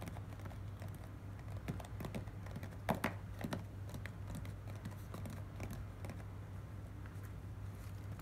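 Long nails tap and scratch on a small, hollow, closed corrugated cardboard box, making dry, quick clicks and soft scraping over a steady low hum. The tapping stays quiet and fairly even, with a sharper cluster of taps around the three-second mark, and near the end the nails pick at the box's seam.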